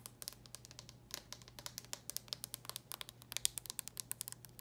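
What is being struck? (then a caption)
Hard plastic handheld console shell. Long painted nails tap and scratch on the closed hard plastic shell of a small red and silver Nintendo DS Lite style handheld game console. A quick, uneven run of dozens of sharp, bright clicks plays over a faint, steady low hum, with each tap dying away almost at once. The result is a quiet, crisp patter.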